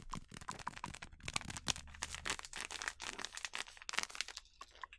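Hands with long nails crumple and squeeze an orange plastic/foil snack bag, back side up, close to the mic. Dense, bright crinkling and sharp crackles come in quick overlapping bursts with almost no ring. The sound eases into sparser, softer crinkles near the end.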